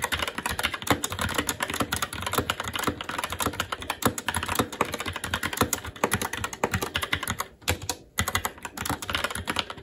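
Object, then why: Mechanical keyboard with plastic keycaps. Fingertips of both hands type continuously and fast on a SteelSeries Apex 7 TKL mechanical keyboard with plastic keycaps on a metal top plate and Red linear switches. A dense stream of short, bright plastic clicks and clacks plays with a few brief lulls near the end, each keystroke dying away almost instantly.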